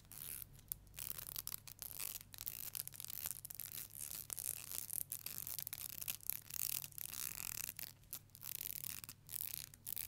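Long nails strum and scratch across the teeth of a thin, solid black plastic hair comb. The result is quiet, bright, crackly scratching in uneven bursts with short gaps, over a faint steady low hum.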